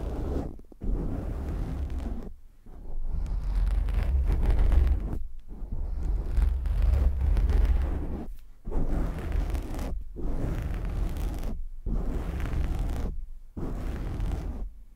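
Fingertips and short nails of both hands scratch quickly and aggressively on a black foam windscreen, soft and porous, covering the hollow grille of a large USB microphone head. The result is a deep, muffled rumbling roar in long scratchy bursts separated by brief silent gaps, with almost all the energy in the low bass and no bright high end.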